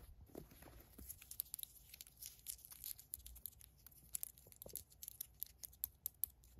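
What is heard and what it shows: Long nails scratch the ribbed waistband of green fleece sweatpants, then fingers handle the white drawstring. The result is a quiet, bright, dry scratching and rustling made of many short, crisp ticks. There is little ring and a soft low rumble underneath.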